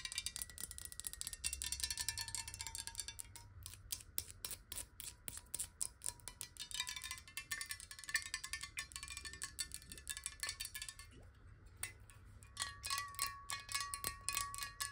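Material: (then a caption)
Glass. A clear glass water bottle, held horizontally and partly filled with water, is tapped rapidly with the long nails of both hands. Dense runs of bright, clicky taps ring with short glassy tones that shift in pitch as the tapping moves along the bottle.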